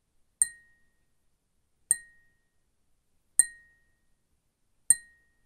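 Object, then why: Glass cup. A glass cup is tapped with a fingernail four times at a steady pace, each tap giving a bright, glassy clink with a short ring near 2 kHz. The taps fall about every one and a half seconds and decay quickly into silence.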